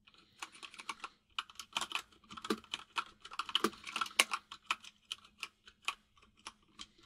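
Both hands type with their fingertips on a compact mechanical keyboard with white and grey plastic keycaps. It produces a quick, uneven run of bright, clicky key taps that stop sharply. A faint steady low hum sits underneath.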